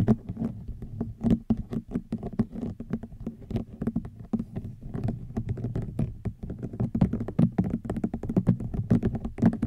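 Fingernails tap and scratch across a woven rattan wicker basket, moving in close toward the end. A rapid run of soft, dry ticks and scratchy brushes, each with a short woody thud and crisp bright edges, dies away almost instantly.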